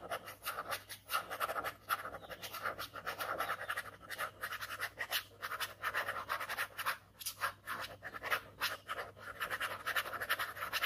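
A ballpoint pen held in the fingers scratches quick hatching strokes across a single flat white paper sheet covered in dense ink scribbles, drawing a skull. The result is a quiet, steady run of dry, scratchy strokes with a raspy mid-range tone and a bright hiss, each stroke rising and falling in rapid succession with no ring afterward.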